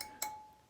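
A steel spoke on the rear wheel of a Yamaha TTR125 motorcycle is tapped once with a wrench, giving a bright metallic ping near 855 Hz that rings briefly and fades. The clear ring marks a tight spoke, unlike the dead-sounding loose ones.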